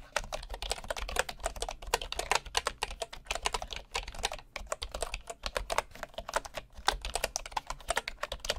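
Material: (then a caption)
Bamboo wood. Fingertips type steadily on a bamboo wood keyboard with wooden keys, making a fast, uneven stream of short, dry, bright clicks with almost no ring. A faint low hum sits underneath the tapping throughout.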